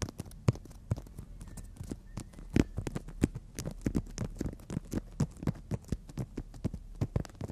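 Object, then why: Emery board nail file tapped by fingernails. Long natural nails tap and scratch across the gritty surface of a long, flat, solid emery nail file. A quick, irregular run of short, dry ticks with soft rasping between them comes through close and quiet, each tap dying away almost instantly.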